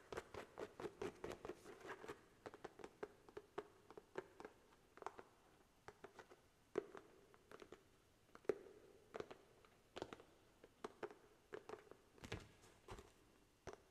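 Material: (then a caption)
Paper. Fingernails tap and scratch the page edges and cover of a paperback book held flat above a microphone, before the book is tilted at the end to show its front cover. Quiet, dry, sharp taps come in quick irregular bursts over soft scratching, with a faint steady tone around 400 Hz underneath.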